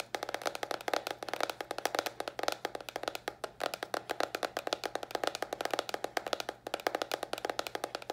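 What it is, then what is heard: Cardboard box. A small, hollow white cardboard box held upright is tapped with long nails in a rapid, steady stream of dry taps for about eight seconds. Each tap is a short, hollow knock centred around 540 Hz with a bright clicky edge and almost no ring.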